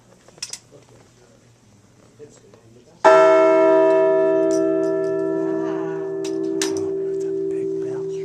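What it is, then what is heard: Struck metal bell ringing with long sustain. A bell is struck once by pulling its clapper to the side, producing a single bright clang with a strong tone around 645 Hz and many higher overtones. It keeps ringing with a long, slowly fading hum that lasts for several seconds, over faint background noise.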